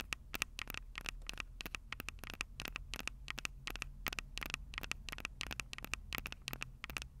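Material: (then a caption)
Metal. Long purple nails scratch and tap the metal microphone capsules on a Tascam DR-05 recorder in a fast, steady stream. Each tap is a sharp, bright click with a faint metallic ring near 2.6 kHz, over a low, constant rumble.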